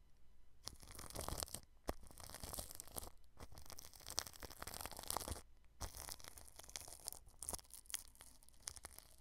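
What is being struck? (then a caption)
Plastic cling film stretched over a microphone. A small paintbrush brushes clear plastic cling film stretched over a round microphone's grille. Bright, crinkly scratching comes in quick strokes and bursts, with brief quiet gaps between passes and sharp little crackles throughout.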